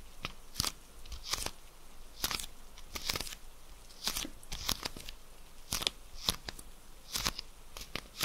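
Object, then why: Plastic pill bottle. Long red acrylic nails tap and scratch a hand-sized dark plastic Magnesium Citrate pill bottle with a glossy label and black screw cap, then grip and twist the cap. The result is a run of sharp, bright, dry clicks and crackly scratching bursts with no ring, spread unevenly over a quiet background.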